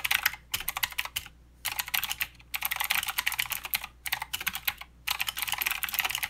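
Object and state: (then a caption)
Mechanical keyboard with clicky switches. Steady two-handed fingertip typing on a mechanical keyboard with plastic keycaps and clicky blue switches gives rapid, bright clicks in bursts separated by short pauses. Each click is crisp and dry, with almost no low end and no ring.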